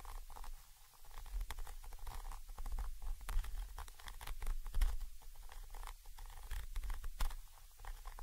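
A thin orange stick taps and scratches the side of a Zoom H5 XY microphone capsule, a small chrome metal body with mesh grilles. The result is a dense run of deep, muffled thumps and bumps, with faint scratchy rustling on top and quick bright clicks in between, and almost all of the energy sits in a low rumble.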